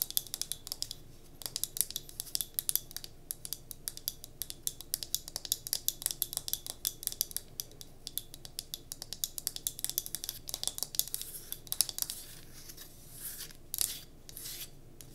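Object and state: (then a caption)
Wooden block candle holder. Long nails rapidly tap and scratch the grained faces of a small solid pine cube candle holder held in the hand. Dozens of dry, bright clicks and scrapes arrive in quick succession with almost no ring, then ease into softer, lighter scratching over the last few seconds.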